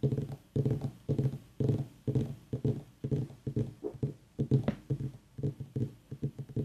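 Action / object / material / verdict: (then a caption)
tap / small whole mini pumpkin, gourd rind / pumpkin rind / none. Fingertips and long nails tap on top of the rind of a small, whole white ribbed mini pumpkin, a hollow gourd with a long dry stem, while an aroma diffuser mists nearby. The taps are dull, hollow, low thumps with a short, dry decay, coming in loose, uneven clusters of quick strikes. Little high-end is heard.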